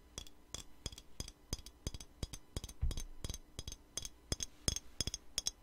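Long nails tap a square clear glass perfume bottle with a black cap, filled with light blue liquid and held in the hand. A quick, uneven series of short, bright clicks sounds, each with a thin glassy ring high in pitch that dies away almost at once.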